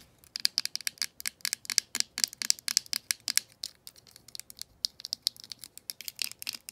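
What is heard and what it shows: Long painted nails tap and scratch the hollow hard-plastic handset of a vintage green rotary telephone, lifted from its base on carpet, near the earpiece grille and body. About 33 rapid, sharp, bright clicks and scrapes come in uneven bursts, with a brief quieter stretch in the middle. They sit almost entirely in the high range with no low end and stop dead, leaving no ring.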